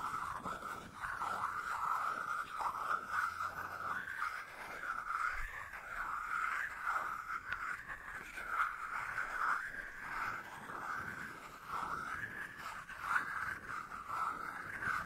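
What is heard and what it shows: A small, hollow white plastic dose cap is held close to the microphone in one hand while the fingertips and nails of the other hand tap and scratch its surface. The result is a continuous, dense scraping texture with a steady hollow resonance in the upper mids, around 1.5 kHz, with little low end. Soft tapping pulses rise and fall throughout.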